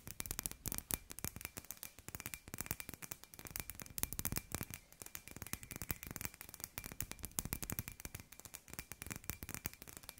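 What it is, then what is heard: Glass light ball. A hand-sized hollow glass light ball with fairy-light wire inside is held in the hand and tapped rapidly with long grey-white nails. The dense run of sharp, clicky taps has bright edges and a soft low body, and each tap dies away almost instantly. A faint steady tone near 2.5 kHz sits under the tapping throughout.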